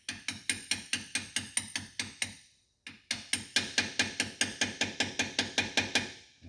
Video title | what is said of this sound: 750 Brute Force Water pump seals & oil seal - finally all back together | hear that tone change a little bit whenever it fully seats